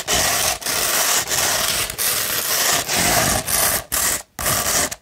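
Long pointed nails scratch a hollow tube of rolled 100-grit sandpaper in a series of long, steady strokes separated by brief pauses. Each stroke is a dense, gritty rasp dominated by bright, hissy texture with very little low end.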